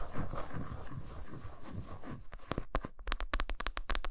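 Long pointed nails scratch quickly across the smooth back of a flat solid milk chocolate bar lying face-down on a towel, with shavings building up. The first two seconds are a steady, dense, rustling scrape. It then breaks into a rapid run of crisp, sharp taps on the chocolate.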